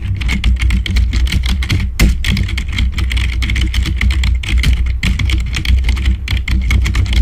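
Fingertips rapidly tap the keys of a black plastic membrane computer keyboard. A dense, continuous stream of short, dull clicks with bright edges sits over a steady low hum near 60 Hz, with only a few brief pauses in the tapping.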